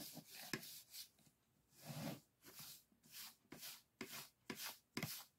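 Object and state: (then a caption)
Bamboo and paper folding fan brushed. A soft makeup brush is rubbed and swept across an open folding fan with thin bamboo ribs and white painted paper lying flat. Quiet, bright, airy swishes rise and fall in repeated strokes. Five short, sharp ticks stand out as the brush catches the ribs.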